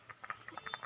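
A fully dried nutmeg is shaken, and the loose seed rattles inside its shell in a quick series of short, dry, light clicks. The rattle shows the nutmeg is dry and at its best; one that does not rattle yet is not yet at its best.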